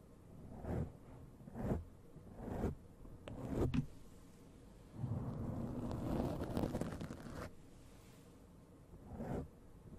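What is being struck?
Foam microphone windscreen.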